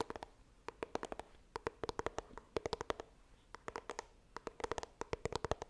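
Long dark nails scratch and tap the front of a small white printed cardboard iPhone box held upright, making quick, dry clicks with a hollow tone around 450 Hz. The taps come in rapid bursts separated by brief pauses, each dying almost instantly over a faint, soft background hiss.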